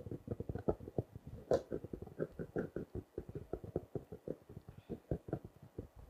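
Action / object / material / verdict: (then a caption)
tap / small notebook in plastic wrap / plastic film / none. A small blue notebook in clear plastic wrap, held at the edge, is tapped and scratched with fingertips and nails. About thirty quick, dry, muffled taps follow in a steady patter, with a brief crinkly scratch partway through. Each tap stops almost at once.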